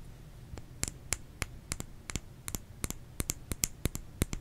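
Fingernails tap on a bar of soap, producing about seventeen short, dry clicks in quick, uneven succession. Each tap is crisp and bright with a faint low thud and almost no ring, over a quiet background.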